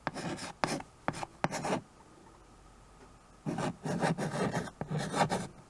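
White chalk held in the fingers scratches writing strokes across the surface of a small handheld chalkboard with a wooden frame. Short, raspy, gritty strokes come in a quick cluster, then a quiet pause of about a second and a half, then a second longer run of scratching.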